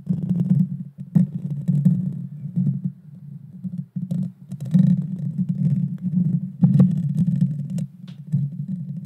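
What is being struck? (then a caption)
Metal mesh microphone grille. Long painted fingernails scratch directly on the bare metal mesh grille of a small Blue Yeti Nano USB microphone with a hollow head. The result is a dense, boomy, low-pitched rasping that sits almost entirely in the bass, with brief lighter ticks and short pauses near 1 and 4 seconds.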